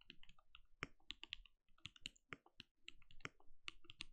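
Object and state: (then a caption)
Plastic mechanical keyboard. Fingertips of both hands type rapidly on a compact backlit mechanical keyboard with plastic keycaps and a translucent glowing case. A quiet, steady stream of quick key taps follows, each a short clack with a bright top and a soft low thud that dies away almost instantly.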